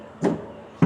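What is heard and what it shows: Two knocks on a metal truck diesel fuel tank, checked just before refuelling. Each gives a dull, low thud around 170 Hz that dies away quickly, with no high ring. The tank sounds empty; it is nearly empty and takes about 400 liters of diesel.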